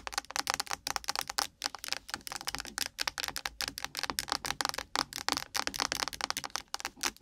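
A blue-and-gold Nivea UV sunscreen spray can, a tall hollow cylinder, is laid across the mic and tapped and scratched fast with very long pointed nails, then held up and tapped at the side. A rapid run of sharp, bright clicks with a metallic ring and scratchy hiss between them carries almost no low end.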